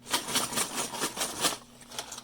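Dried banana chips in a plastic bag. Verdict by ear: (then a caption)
Hard. Hard, baked, crunchy dried banana chips are shaken in a plastic bag, rattling and clinking sharply like pieces of glass. The bursts are bright and brittle, with a few clearly separate rattles.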